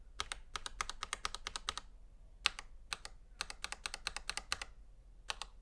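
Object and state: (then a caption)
Plastic mechanical keyboard. A gloved fingertip repeatedly taps and presses single keys on a full-size black plastic Razer Huntsman V2 Analog mechanical gaming keyboard with a hollow housing, lying flat on a white table. Quick runs of sharp, bright clicky keystrokes are separated by short pauses, each one dying away almost instantly over a quiet low hum.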